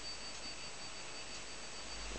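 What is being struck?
Nothing is struck.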